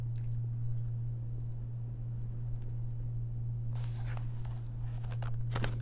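Long nails trace along the surface of a single paper page in an open paper coloring book, then turn it. A steady low hum runs throughout under faint, soft scratching, followed by a brushy rustle from the page turn and a few crisp, bright ticks near the end.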